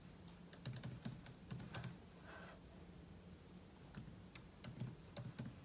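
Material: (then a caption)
Plastic. Fingertips type continuously on the plastic keys of a silver aluminium laptop, producing two runs of sharp, bright key clicks separated by a quieter pause with a soft swishing sound. A steady low hum sits beneath the typing throughout.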